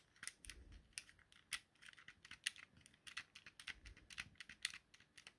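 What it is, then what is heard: Plastic game controller buttons clicking. A thumb presses and clicks the X, Y and A buttons and the stick on a small, hollow yellow plastic Nintendo Joy-Con controller. The result is a quiet, irregular run of sharp, dry, bright plastic clicks that die away almost instantly, with only faint low thumps beneath them.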